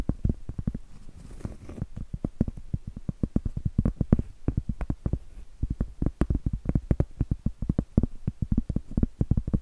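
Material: Cork.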